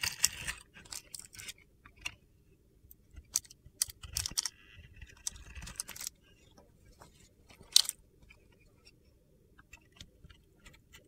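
A solid white Pears-style soap bar with a dark glitter coating, held in the hand, is scraped and shaved with a metal utility knife blade. The result is a series of quiet, crisp, gritty scraping and crunching bursts that are bright and high-pitched, each stopping almost instantly with no ring.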